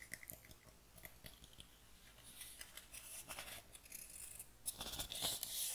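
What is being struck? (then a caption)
Small pine wooden box. A small, light, hollow pine wooden box, first open and then closed, is held in both hands and tapped and scratched with long dark nails. Quiet, sharp, bright taps come first, then denser scratchy rasping builds and grows louder toward the end. The sound is mostly high and bright, with little low end.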